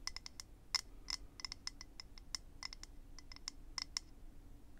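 A small, hollow, rectangular clear acrylic eyelash case is held in the hand and tapped and scratched with fingernails. Quick, sharp, high clicks come in an irregular stream, each dying away almost instantly over a faint low hum.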